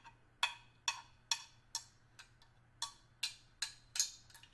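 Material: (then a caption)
Stainless steel. A small, hollow stainless steel hip flask, held upright, is tapped with the tip of a small screwdriver. The taps make a series of quick, bright metallic ticks at an uneven pace, each ringing very briefly with a high, thin tone before fading over a faint low hum.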